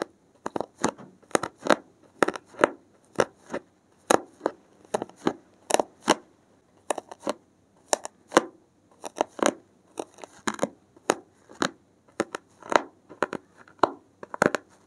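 A gloved hand repeatedly pricks and scratches the top edge of a solid stack of dark grey porous foam sheets with a thin metal pin. About forty short, dry scratching clicks follow one another in an uneven rhythm, each bright and crisp with almost no ring or low end, separated by near silence.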